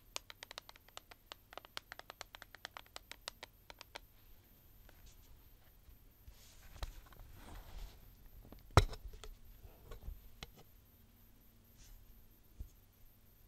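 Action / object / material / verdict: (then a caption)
tap / plastic eyeshadow palette with clear lid / plastic / none. Long painted nails tap quickly on the clear lid of a flat, hand-sized black plastic eyeshadow palette, making a run of sharp, bright clicks over the first four seconds. The palette is then handled with soft rustling, and a single loud snap rings out as it is opened, followed by quieter handling sounds.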